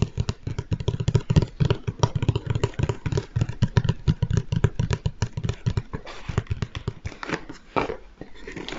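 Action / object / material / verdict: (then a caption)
tap / large cardboard box / cardboard / none. Fingertips tap rapidly on a large, hollow Lego Stormtrooper cardboard box held beside the mic, giving a steady stream of deep, hollow thumps with a low boomy tone and almost no ring. Toward the end the taps thin out into lighter, drier knocks with a faint scratchy texture.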